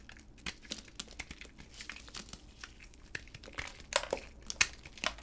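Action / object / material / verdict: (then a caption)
scrape / bar of soap cut with a blade / soap / none. A utility blade shaves and carves flakes off a solid, palm-sized pink bar of dry hard soap held in a black-gloved hand. The cuts make a quick, irregular series of crisp, bright scraping and crinkly crunching sounds. The louder, sharper cuts cluster toward the end.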